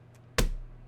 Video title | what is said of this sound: Ross Hamilton Fake Money ??? ( Connected Investors Scam ) | real money is all cut a little differently it's not cut perfectly like fake hundreds the sound is actually a little bit different each time